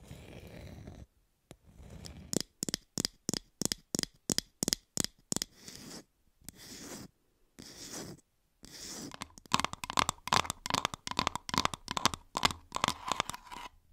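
Fingers tap and scratch on plastic toy fruit in an ASMR-style clip, with no speech. A steady run of sharp, bright clicks alternates with short scratchy, rustling passages, then gives way to faster, denser tapping with a hollow ring around 1.1 kHz. The taps are dry and short, with almost no ring.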